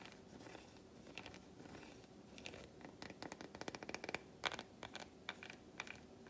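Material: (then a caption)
Chocolate. A long fingernail scratches along the grooves of an unwrapped solid milk chocolate bar resting on a palm. Quiet, soft scraping gives way after a few seconds to a series of crisp, bright scratchy ticks that stop short with almost no ring.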